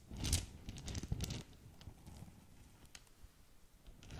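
Long nails scratch and scrunch a small green polka-dot satin or organza gift bag tied with a ribbon, giving crinkly, tearing-like rustles. The loudest bursts come in the first second and a half, and quieter scratches follow before a final bright swell at the end.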